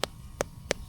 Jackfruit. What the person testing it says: Pag tunog, tambol na siya.